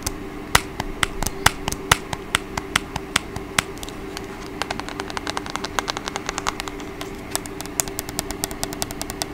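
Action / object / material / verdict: tap / plastic TV remote control / plastic / none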